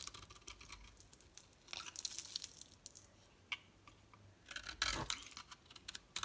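A solid green oval bar of soap is shaved with a utility knife blade, and the flakes fall onto the table. Bursts of bright, dry scraping and crackling come in clusters, and a sharper crunchy stroke rises near the end.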